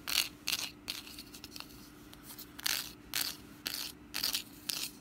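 Long nails scratch the woven strands and base inside a small, open, orange woven wicker pumpkin basket that is hollow and empty. Short, bright, raspy scratching bursts come and go over a faint steady low hum, with very little low end and no ring after each stroke.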